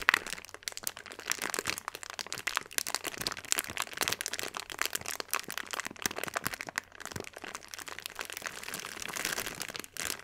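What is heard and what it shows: A clear plastic bag filled with small purple granules is held in both hands, shaken and squeezed. It makes a dense, continuous crinkling and rustling with rapid sharp crackles, bright and high with almost no low end. The texture holds steady for about ten seconds, with a brief drop just before the end.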